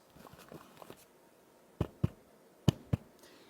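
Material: Fabric.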